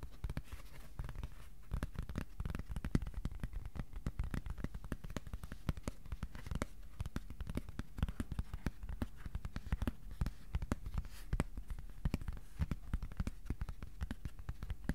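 A thin, flat white cardboard sheet about A4 size is held in both hands and tapped quickly with the fingertips. The result is a dense, steady stream of soft, dull, low thuds with almost no high content and no ring, continuing throughout.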